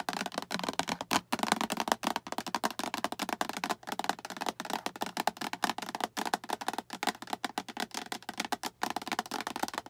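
Long acrylic nails tap and scratch the sides of a small, hollow, translucent green plastic storage box with a latch handle and a diamond pattern. The result is a rapid, dense stream of short, dry clicks with no ring, mixed with bright scratchy rasps. A hollow plastic tone sits around 900 Hz.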